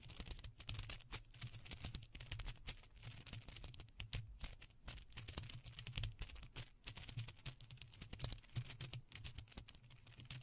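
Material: Plastic.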